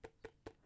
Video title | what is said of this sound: Huawei Matebook X - nailed it on the first attempt! | it just feels a little bit Hollow just a little bit loose